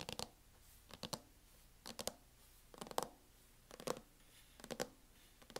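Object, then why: Plastic laptop hard-shell case. Long acrylic nail tips tap a closed laptop in a mint matte plastic hard-shell case, including near its front edge. Quick clusters of two to four sharp, dry clicks arrive about once a second, six bursts in all, each with a bright, hollow plastic tick. The taps die away at once, leaving quiet gaps between bursts.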